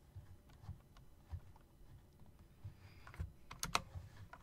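Slow typing with long-nailed fingertips on a typewriter-style mechanical keyboard with round plastic keycaps and metal rims. Sparse, quiet clicks with soft low thumps sound over a faint background hiss, ending in a few sharper, brighter clacks that die away almost instantly.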